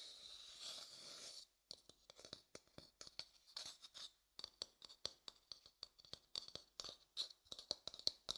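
A light-colored hollow wooden bowl, held upside down, has its outer surface scratched and tapped with fingertips. A soft, steady scratching opens the clip, then gives way to a long run of quick, separate taps and short scrapes. The sound is quiet, dry and bright, with almost no low end and no ring after each touch.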